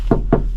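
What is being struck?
Steel vehicle body panel.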